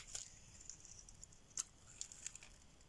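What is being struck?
Bar soap.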